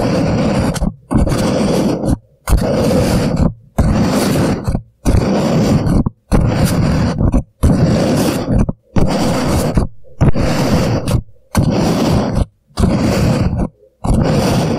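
An empty disposable paper coffee cup, hollow and turned upside down over a microphone, is scratched and tapped on its sides by both hands with fingertips and short nails. The result is loud, low, rumbling scratchy bursts of about a second each, separated by brief silent gaps.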